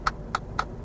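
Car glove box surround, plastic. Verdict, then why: Hollow. Three light taps of a ring on the plastic around the glove box of a Kia Ceed Sportswagon give three short, sharp clicks centred around 1.3 kHz that die away almost instantly. The plastic there sounds cheap and hollow, lower quality than the dense plastic higher up the dashboard.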